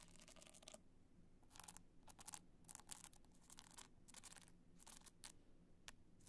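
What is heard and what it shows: Long nails tap and scratch across the rhinestone face of an upright black multicolor rhinestone hard-shell clutch. The result is quiet, bright, scratchy bursts with short gaps between them, over a low steady hum.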